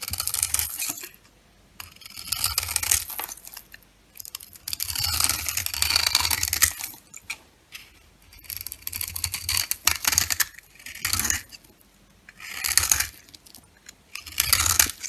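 A metal box-cutter blade scrapes and shaves curls off the cut face of a solid oval soap bar with a red coating and cream interior, held in a hand with dark nails, as the shavings fall onto a pink surface. Bright, crisp, dry scraping and crackling comes in repeated bursts separated by short quiet pauses, with a faint low thud underneath.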